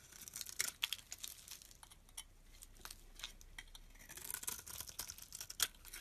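A solid olive-green soap bar held in hand is scraped with a utility knife blade, peeling off flaky shavings. Quiet, bright, dry scratching and crackling strokes come in irregular bursts, with sharper peaks near the start and end and almost no low end.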